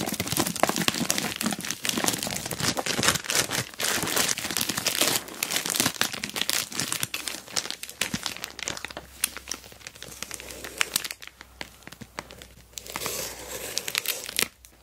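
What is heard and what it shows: Fingertips and long nails rub, press and scratch an orange glossy plastic Temu mailer bag holding a box with a dual camera dash cam inside. Dense, bright crinkling and crackling fills the clip, loudest in the first half before settling into softer rustles with sharp snaps and a brief louder burst near the end.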